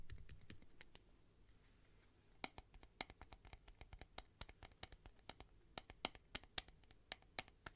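Long nails tap the wall of a clear plastic tube with sponges inside, held horizontally. About 29 sharp, dry, bright clicks die away almost instantly, sparse at first and then quickening into an irregular run. A low rumble is heard only in the first half second.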